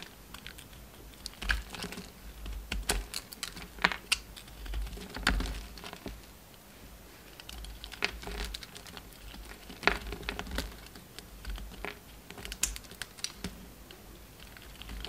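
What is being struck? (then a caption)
Bar of soap cut with a knife blade. A hand-held solid pink bar of soap is carved down with a utility knife blade, with chunks sliced and scraped off. Crisp, short cutting clicks and scrapes sound in quick, irregular bursts over a low, steady background hum. Each cut stops dry, with no ring after it.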